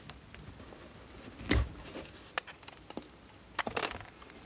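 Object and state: Bar of soap being carved.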